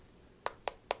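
Three short, dry taps on the polycarbonate plastic back of an HDC Nano One, a clone of the HTC One M7, each a quick click centred around 570 Hz with almost no ring. The back sounds different from aluminium because it is plastic, though it still feels solid and well made.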